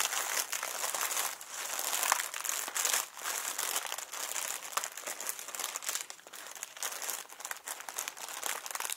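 A small inflated clear plastic packing air pillow with blue print, hollow and air-filled, is held in both hands and squeezed and crinkled with fingertips and short nails. The result is continuous bright, dry crinkling and crackling with irregular bursts of louder crackles.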